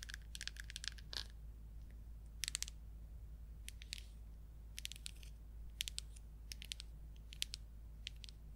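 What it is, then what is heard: Plastic paint jar. A small red plastic paint jar with an orange lid is tapped and scratched with long acrylic nails on its lid and labelled sides. The result is quick, dry, bright clicks and scratchy rasps in irregular clusters over a steady low hum.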